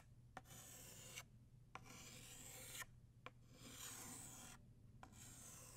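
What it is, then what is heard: Chalk stick drawn on a chalkboard. An orange chalk stick held in the fingertips scratches across a flat black chalkboard in continuous strokes, drawing petals. Each bright, raspy stroke starts with a short sharp tap and is separated by brief pauses. A steady low hum runs underneath throughout.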